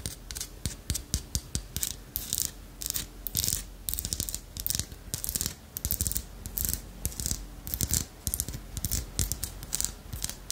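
A small, solid, dark-brown carved wooden armadillo figurine with a ridged shell is held in the hand and tapped and scratched with long acrylic nails. Quick, dry clicking taps alternate with bright, raspy scratching bursts across the ridges, each sound dying away almost at once. The pattern repeats steadily throughout the clip.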